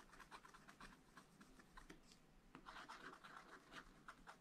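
A wooden stylus scratches small areas of a thin, flat, black wax-coated scratch-art page in a small spiral-bound pad. Quiet, dry, bright scratching strokes come in short bursts, easing briefly just past two seconds before a denser run of scraping.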